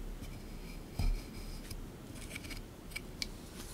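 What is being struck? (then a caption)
Plaster block scraped with a small plastic pick. A small plastic pick tool digs and scrapes at a solid beige plaster block sitting in a tray, chipping off crumbs with short, repeated strokes. The quiet, dry scratching is broken by a heavier low thud near the start, followed by faint, bright clicks as bits break away.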